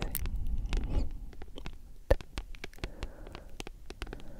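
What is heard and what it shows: Long nails scratch and tap on the glossy card cover of a thick, solid paperback book. A soft, rustling scratch in the first second gives way to a run of quick, dry, crisp taps, with one louder knock partway through. Each tap stops almost at once over a low, muffled rumble.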